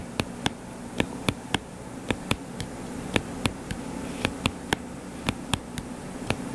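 Fingertips tap quickly on the cover of a closed hardcover paper book lying flat and solid, giving 19 short, crisp taps with sharp attacks that die away almost instantly and carry bright, high clicks. Beneath the taps runs a steady low hum with a faint tone near 250 Hz.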